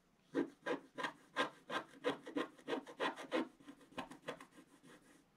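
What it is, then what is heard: Coated paper scratch-art sheet being scratched. A wooden stylus scratches a flat black-coated scratch-art card in about seventeen quick, fairly regular strokes over one spot. Each stroke gives a short, dry, rasping scrape with a mid-range body and some brighter hiss. The strokes grow softer toward the end.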